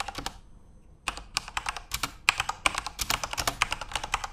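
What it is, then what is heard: Plastic mechanical keyboard. Both hands type rapidly with their fingertips on a Corsair mechanical computer keyboard with plastic keycaps and RGB backlight, resting on a desk. A few quick key clicks are followed by a brief pause near one second. A dense run of sharp, bright, clacky keystrokes with very short decay then continues to the end.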